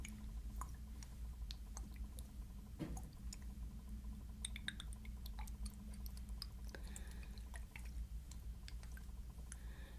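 A bow-shaped glass Guerlain Mon Exclusif perfume bottle is shaken so the pink liquid perfume sloshes inside. Soft, wet sloshing and gurgling come with scattered small, sharp glassy clicks over a steady low hum. The bottle gives some of the best liquid sounds.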